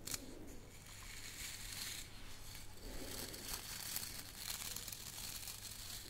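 A small round hand brush with a light wooden back and handle and stiff natural bristles is held close and scratched and rubbed with long painted nails and fingertips. The result is a quiet, steady, bright bristly scratching and crinkling with a constant low hum underneath, rising into several brief scratchy swells.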